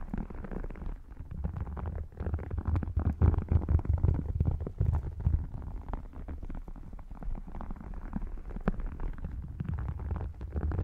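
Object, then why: Embossed faux leather wallet. An open red faux crocodile leather wallet with a croc-textured embossed surface is held over the microphone while short nails scratch and fingertips tap across it. The result is a dense, muffled, bass-heavy stream of quick, irregular scratches and soft taps with almost no bright content, swelling louder in the middle before settling back.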